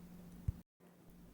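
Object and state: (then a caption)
Crisp caramelized bread bun bottom. A fingertip taps the caramelized honey-and-sesame crust on the bottom of a freshly baked bun that has just been turned out of the pan. It makes a short, dull, low knock over a steady low hum, followed by a brief gap of silence. The tap shows the bottom is crisp and caramelized, while the rest of the bread stays soft.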